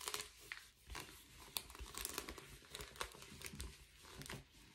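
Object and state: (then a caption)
Foil bubble mailer being crinkled. An empty blue metallic foil bubble padded envelope is held in both hands while fingertips and nails scratch and squeeze it. The result is a quiet, close run of bright, papery crinkles and sharp scratchy ticks that rise and fall in clusters, with little low end and almost no ring after each crackle.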